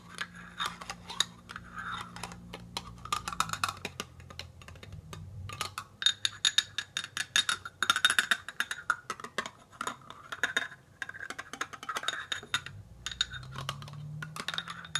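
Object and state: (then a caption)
Full metal food can. A small, full, sealed tin can of chicken breast with a paper label is held in one hand and scratched and tapped on its rim and lid with a thin tool held in the other. The result is a quick, irregular stream of bright, dry metallic clicks and scrapes that die away almost instantly, over a faint low hum.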